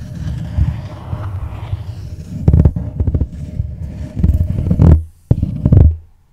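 Long nails tap the sides of a small, hollow red floral cardboard gift box held on a tablet. The result is rapid bursts of dull, low, hollow taps that die away almost at once. One brief silent gap falls just after the five-second mark before the tapping resumes.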